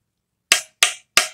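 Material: Steel.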